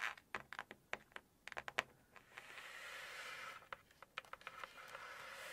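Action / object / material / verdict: tap / hardcover paper book, pages and cover / paper / none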